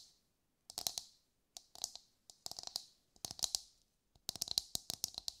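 A brown husked whole coconut with a hard fibrous shell, held in both hands, is tapped with long light-grey nails. Quick, dry, bright clicks come in short clustered bursts separated by brief silences, with a faint lower knock under each tap and almost no ring.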